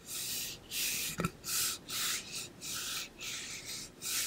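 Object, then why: Painted insulated metal water bottle. Fingertips and nails rub and scratch along the painted side of a pink-blue ombre insulated metal water bottle, about 0.5 L, hollow, with a metal base and cap, held beside the ear. Repeated bright, hissy scraping strokes are separated by short pauses, with a brief low knock partway through.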